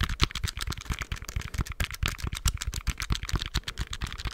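Fingertips tap and press the plastic keys of a handheld black plastic scientific calculator. The result is a quick, irregular stream of short, dry clicks, each with a dull low thump under a bright plastic tick and almost no ring.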